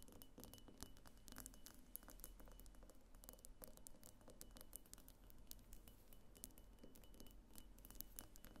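A medium, hollow pink glass diffuser vase on a clear glass base, standing on a table, is tapped and scratched lightly with long nails on its lower sides. Rapid, quiet clicks and soft scratches patter unevenly over a low steady hum, with a faint high whine running throughout.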